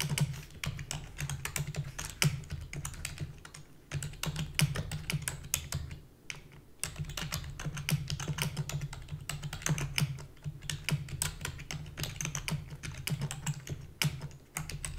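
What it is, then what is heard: Plastic computer keyboard. Rapid typing with long fingernails and fingertips on a full-size black plastic keyboard with a hollow body produces a dense stream of sharp, bright clicks and clatters. A steady low hum sits beneath the keystrokes, and the typing briefly slows around the middle and near the end.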